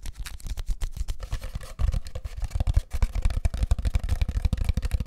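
A long, hollow, empty brown cardboard tube from a paper towel roll is held in both hands close to the mic and tapped and scratched with fingertips and short nails. The result is a rapid, irregular stream of dull, hollow, low thumps with a soft scratchy texture. Each tap dies away almost instantly.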